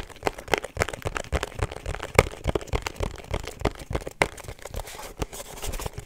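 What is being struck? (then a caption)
Small rigid cardboard box. A small, rigid, hollow pink cardboard perfume box with a black seal is tapped with long nails and fingertips. The taps are quick, irregular and dry, with sharp clicks and hollow knocks that stop almost at once.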